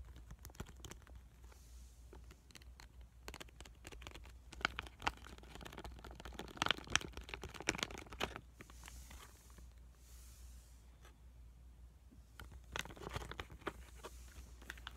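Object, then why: Foil laminate sheet mask pouch. A full, small pink pomegranate sheet mask packet made of foil and plastic laminate is squeezed, scratched and tapped on its front and back with fingertips and short nails. The result is dense, bright crinkling and crunching with quick taps, louder around the middle and again near the end, over a steady low hum.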